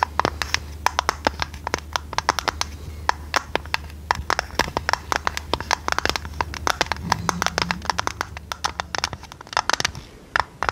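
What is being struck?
Tinplate tea tin with lid.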